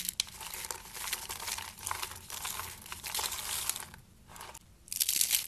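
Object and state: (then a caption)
Dry soap flakes crushed. Fingers squeeze and crush handfuls from a pile of dry pink soap shavings, with soap curls nearby, producing a dense, bright, crinkly crunching. The crunching runs in steady waves, drops to near quiet around the four-second mark, and ends with a louder, sharper burst of crushing.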